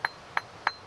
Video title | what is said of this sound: Ray Mears' Wild Food - E02 Coast - HQ | you should have a real crystal sound